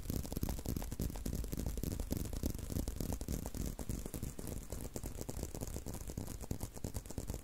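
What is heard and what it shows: A brown leather belt strap is held in both hands while fingertips and nails scratch and tap along it. A rapid, uneven stream of dry taps and scratchy rustles continues at a steady level for the whole clip, with most of the energy low and thuddy.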